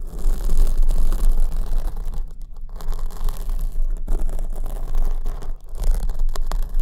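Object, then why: Foam microphone windscreen. Long nails scratch the surface of a black foam windscreen on the right microphone, which is held at the top. The result is a dense, continuous scratching and rustling with a heavy low rumble, rising and falling in loudness with a few brief dips.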